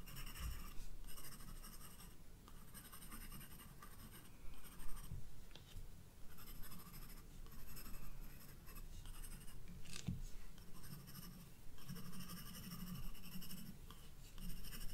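A graphite pencil draws lines on a flower sketch on the white paper page of a spiral-bound sketchbook. Soft, scratchy strokes come in uneven bursts with a bright, papery hiss over a quiet low rumble, with short pauses between runs of strokes.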